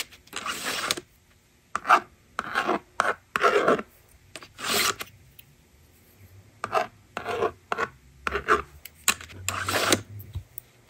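A plastic stylus rasps numbers onto the screen of a plastic magnetic drawing board resting on a table, and a fingertip pushes its eraser slider. The result is a series of short, dry scratching strokes, broad and fairly bright, separated by brief quiet gaps.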